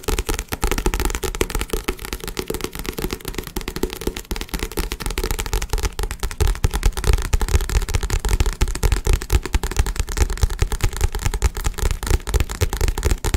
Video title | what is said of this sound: ASMR Tapping (Fast) (Aggressive) | started tapping on it and I thought I made some pretty good sound